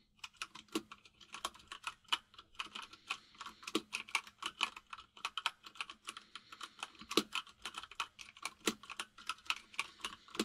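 A white full-size mechanical keyboard with plastic keycaps, resting on a desk, is typed on rapidly with the fingertips of both hands. The result is a steady stream of sharp, bright plastic clicks and clacks, with occasional louder, fuller keystrokes standing out. A faint steady low hum sits underneath the typing.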